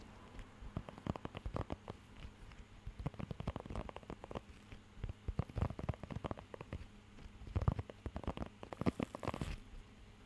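Fingertips scratch and rub the raised nubs of a blue rubber pet hair grooming glove held close to the mic. The result is dense clusters of short, dry crackling scratches, heavy in the low end, with brief quiet gaps between bursts and a brighter rubbing hiss near the end.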